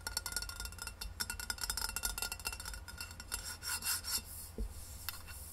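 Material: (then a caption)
Stainless steel. Long red nails tap fast and scratch along the sides of a hollow rose-gold stainless steel insulated water bottle standing upright on a wooden table. Rapid, bright metallic clicks and raspy rubbing strokes carry a faint ring near 1.4 kHz that fades quickly, over a steady low hum.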